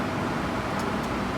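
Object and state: Nothing is struck.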